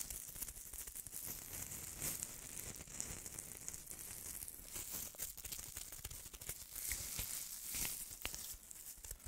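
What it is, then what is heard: Styrofoam ornaments scratched. Fingernails scratch and rub the foam surface of two white styrofoam-ball snowman ornaments held close to the mic. The result is a steady, dense, bright scratching and crinkling with squeaky rasps and quick sharp ticks throughout.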